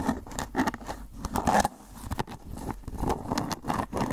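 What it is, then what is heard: Clear plastic food container. Fingernails scratch and tap the ridged surface of an empty-looking, hollow, rectangular clear plastic food container with a white lid. Dry, rapid scraping and light ticking taps come in uneven bursts, with a papery, mid-range texture and short decays.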